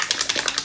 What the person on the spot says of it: You hear that little agitator in there?